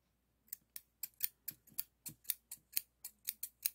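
Solid stainless steel hair thinning shears with a toothed blade, held in the fingers, are opened and closed repeatedly, giving 14 quick, bright snips of metal blades rubbing and clicking. Each snip is crisp and high, with almost no low end, and dies away at once into near silence.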